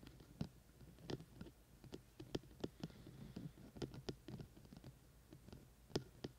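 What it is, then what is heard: Binaural microphone with silicone ears. Fingertips tap quickly on the sides of the white silicone ear shells of a hollow, dome-shaped binaural microphone with a black plastic body, held in both hands. The result is a quick, irregular series of soft, short, dull taps, mostly low and thumpy with a little high click, over a faint steady hiss.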